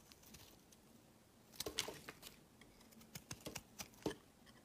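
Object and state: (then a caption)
Bar of soap being carved. A metal knife blade scrapes shavings off the edge of a solid, palm-sized, cream-colored bar of soap with embossed lettering, held in the hand. Quiet, dry, bright scraping and crisp, short clicks come in an irregular series, with a faint crumbly texture between strokes.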